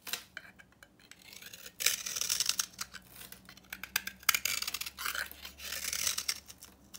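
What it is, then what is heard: Dry bar soap. A utility knife scrapes a solid, rectangular, copper-painted bar of dry soap with an orange interior, held in the hand, breaking it into crumbly chunks. The scraping comes in bursts of bright, dry, crackling rasps centered near 2 kHz, with quiet pauses between strokes and almost no low end.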